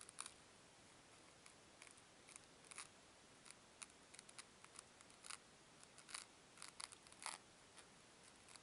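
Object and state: Foam cubes squeezed and rubbed.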